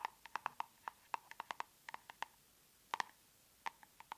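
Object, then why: Round plastic cosmetic tub with lid. Long nails tap on the lid of a large round plastic tub of aloe soothing gel, making twenty sharp, dry clicks with a hollow tone near 950 Hz and bright overtones. The taps come in an uneven rhythm with a couple of short pauses, and each one stops instantly with no ring.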